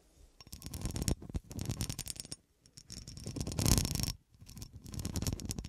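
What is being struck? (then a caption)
Cut glass horseshoe. Long nails scratch along the ridges of a solid, textured cut glass horseshoe held in the hand. Three bursts of rapid, ticking scrapes are separated by short pauses, with a dense low rasp under bright clicks.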